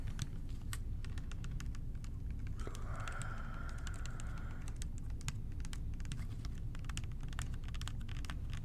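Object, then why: Plastic bottle partly filled with liquid. Fingertips tap quickly and lightly on the sides of a clear plastic bottle with a blue cap, partly filled with purple cleaning liquid and hollow above it. The sound is a steady stream of soft, sharp clicks over a constant low hum. A brief higher tone runs through the middle of the clip.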